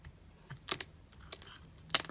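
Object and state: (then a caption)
Soap bar being carved. A metal knife blade carves and scrapes shavings from a solid, palm-sized oval white soap bar with a carved leaf relief, held in the hand. Four short, crisp, bright scraping clicks stand out over a faint, quiet background, each dying away almost instantly.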